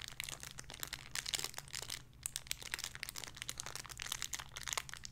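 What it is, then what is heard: Crinkly plastic bag with soft toy. A small, clear, crinkly plastic bag holding a soft pink squishy toy is held in both hands and crinkled and squeezed with the fingertips and long red-painted nails. Dense, bright crackling crinkles come in rapid bursts over a faint steady low hum, easing briefly around two seconds before picking back up.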